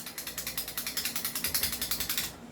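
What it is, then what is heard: Airsoft rifle with loose barrel, rattles. An airsoft rifle with a non-fixed, loose barrel is shaken, producing a rapid series of about 22 bright, metallic rattling clicks over two and a half seconds. The rattle is a fault: a fixed-barrel rifle does not rattle like this.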